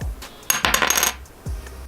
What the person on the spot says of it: 터프를 떨어뜨렸을 때는 단단한 느낌이 드는 그런 메모리 카드입니다.